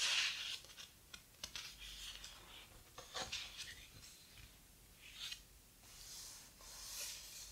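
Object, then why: Hardcover book with heavy paper pages. Fingers rub the heavy paper pages of a large, thick hardcover book and flip one page over. The sound is quiet, bright papery rustling and brushing, with a few short crisp scrapes and a soft swish as the page turns.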